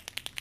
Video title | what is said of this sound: Acrylic Sign - Lettering Tutorial with Nicole Miyuki | you can hear a ball so think of this like a spray paint can and there's a ball inside